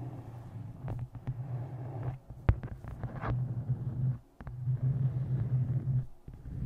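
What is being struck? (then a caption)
Hardcover book cover. Long nails tap and scratch the cover and taped-photo area of a closed, solid, dark-covered hardcover book resting on a microphone. A deep, low rumbling drone fills the clip, broken by sharp, dry taps and brief scratchy swipes, with short quiet dips between the bursts.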